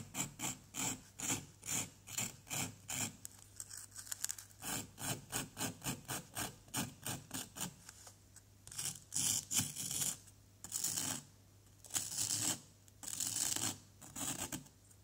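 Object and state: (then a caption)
Plaster dig block being scraped. A pointed wooden pick scrapes and scratches the surface of a small, solid, fist-sized orange-yellow plaster dig block, which lies on cardboard and is held steady by one hand. Quick, rhythmic, bright rasping strokes give way after about eight seconds to fewer, longer scrapes. The scraping leaves crumbly powder on the block.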